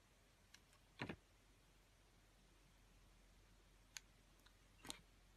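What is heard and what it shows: A metal utility blade cuts the scored pieces off a solid ring-shaped bar of soap with a pink scored rim and a pale yellow face. Six quiet, crisp clicks and short crunches with bright edges stand out against a faint steady hiss, with a brief double snap near the start and a fuller crunch at the end.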